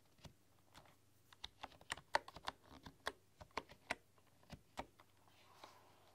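Fingertips and long nails type on a full-size bamboo computer keyboard with wooden keys. The result is a quiet, uneven run of short, dry, bright clicks and taps that die away almost instantly. A faint steady low hum sits underneath.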